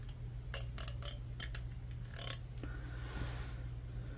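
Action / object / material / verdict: scrape / plastic comb / plastic / none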